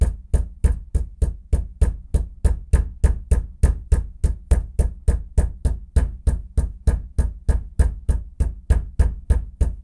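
A bathroom floor is knocked with a fist in a steady, quick series of 34 dull, low thuds, about three per second. Each knock is short and deep, with almost no ring after it.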